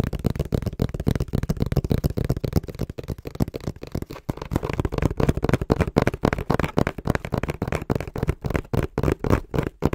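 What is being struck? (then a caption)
Small cardboard box. Fingertips tap quickly on the printed face of a small, hollow brown cardboard box held in both hands. The taps are dull, low, hollow thumps that stop short with no ring. They come in a fast, uneven stream for the whole clip.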